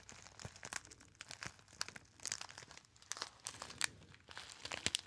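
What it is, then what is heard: Crinkled metallized foil pouch. A small, hollow, apparently empty gold metallized foil pouch is squeezed into a narrow shape and crinkled by fingertips. It makes a steady run of dry, bright crackling with frequent sharp snaps. The sound has almost no low end and stops abruptly after each snap with no ring.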